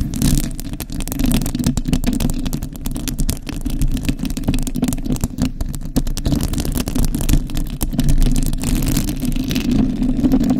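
Long acrylic nails from both hands scratch across the hollow metal mesh grille of a decorated desktop microphone. The result is a dense, continuous rasping and rattling, heavy in low, boomy rumble with faint bright scratchy edges, and its loudness swells and dips throughout.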